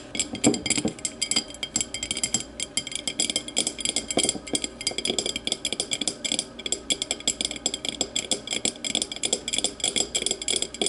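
Long matte nails tap and scratch the thick base and sides of a small, empty, clear glass whiskey tumbler held base-forward. The result is a steady, rapid stream of bright, sharp clicks and scratchy rasps, each ringing only briefly with a faint glassy tone.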